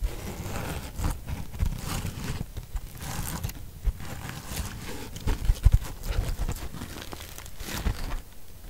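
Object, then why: Natural sea sponge. A large, dry yellow natural sea sponge is held in both hands while long pink nails scratch and rub over its porous surface close by. Soft, continuous crinkling and rustling scrapes come through with a low rumble underneath, and a few louder crackly bursts stand out near the middle of the clip.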